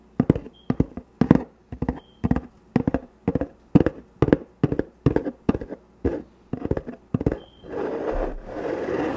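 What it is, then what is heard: Cardboard box scratched with fingernails. Long fingernails scratch along the side of a closed, medium-sized, hollow corrugated cardboard shipping box sealed with packing tape, right next to the microphone. Short, dry, scratchy strokes come in quick clusters with brief pauses between them, carrying a hollow low-mid body. The clip ends in a steady, rougher continuous scrape.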